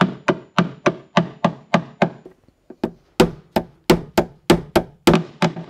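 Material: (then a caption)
Sheet steel. A gloved hand knocks a rounded-tip PDR tap-down tool against a large, hollow, thin silver painted sheet-steel car front fender to level a dent. About 17 short, dull knocks come at an uneven pace, each with a brief metallic ring that dies out quickly. The taps soften and thin out midway, then pick back up louder and brighter.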